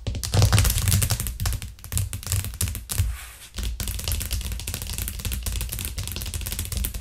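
Long nails tap quickly and hard on a white plastic cutting board with green edges, which lies flat on a cork trivet. The result is a dense, rapid stream of dull clicks over a low, thumpy body. The tapping briefly thins out near the three-second mark, then resumes just as fast.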